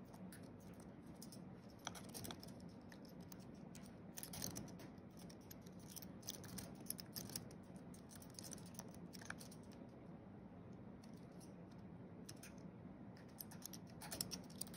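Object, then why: Aluminium and plastic computer keyboard. Fingertips of both hands tap quickly across the white plastic keys of a thin wireless keyboard with a flat aluminium base, typing. The result is a quiet, steady stream of soft, dry, bright key clicks over a low, even murmur, with a few sharper taps standing out.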